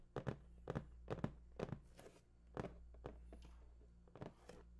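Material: Cardboard.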